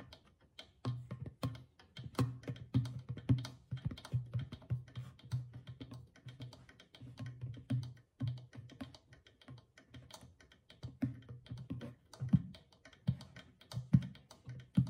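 Fingertips and long nails tap steadily on the stretched rawhide head of a small hollow drum with a painted, glazed clay body, while one hand steadies the rim. The quiet, rapid taps give short, dry, low thumps with a hum-like pitch around 130 Hz that dies away almost at once, with occasional sharper clicks from the nails.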